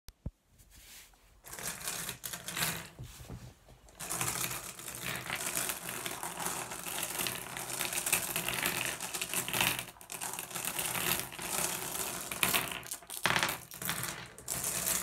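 Bare fingertips and a palm press, spread and scoop a pile of small, solid, blue iridescent flat glass gems on a wooden table, making them clack together. After a few sparse clicks in the first seconds, a dense, bright rattle of clicking glass runs almost continuously from about 4 seconds, with brief lulls near 10 and 13 seconds.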